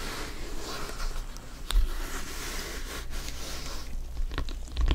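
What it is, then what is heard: Synthetic leather soccer ball. Fingers in black gloves tap and grip a full-size inflated hollow soccer ball with stitched synthetic leather panels. Soft, dull low thumps sit under a steady scratchy rustle of glove on panels, with a few louder knocks standing out briefly. The thumps die away quickly with little ring.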